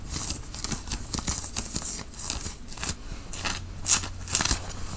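Fingertips scratch across the front and shoulder of a white cotton t-shirt being worn, making dry, bright, rapid scratching and rustling strokes in an uneven rhythm. Two sharper, louder scrapes stand out near the end over a faint low hum.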